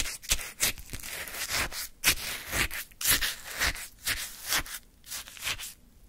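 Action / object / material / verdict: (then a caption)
scrape / orange sherbet in a paper cup, scooped with a wooden stick / ice / none. A wooden stick scoops and scrapes through icy frozen orange sherbet in a small paper cup. About ten crunchy, gritty scraping strokes come at an uneven pace, each a bright, crackling burst that stops quickly.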